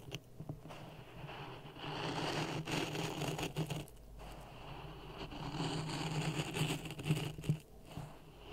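Dry sand in a clear plastic cup resting on a red microphone is stirred with a wooden stick. A continuous gritty, crunchy rasp swells and fades in waves over a steady low hum, with scattered brief crackles and a few sharper scrapes near the end.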